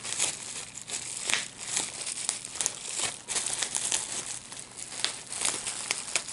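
A clear plastic bubble wrap sheet of small air-filled bubbles is held up in both hands while fingertips pinch and pop the bubbles. A steady stream of bright crinkling and sharp, quick snapping pops rises and falls, with almost no low end.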